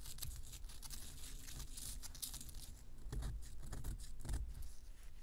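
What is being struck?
Pressed powder bath bomb on a paper towel.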